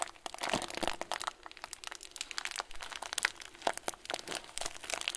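A clear plastic bag full of tiny white foam beads, with a loose plastic tail, is squeezed with both hands and thumbs. It gives a dense, steady run of bright crinkling and crunching, with sharp little crackles and clicks that stop almost instantly and very little low end.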